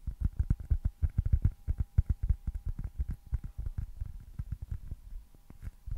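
A small, solid white foam baseball stress ball with red stitching is held close to the mic and tapped and scratched with fingertips and nails. Rapid, soft, dull thumps come in quick irregular bursts, deep and muffled with no ring. The tapping eases slightly toward the end.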